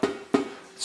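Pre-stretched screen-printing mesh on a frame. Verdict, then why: Tight. A pre-stretched screen printing mesh screen is flicked by finger, giving short, plucked, twangy tones pitched near 277 Hz that ring briefly and die away. Two distinct flicks are heard, with a third starting at the very end. The mesh is super tight, so pushing on it cannot make a bulge, unlike a loose screen.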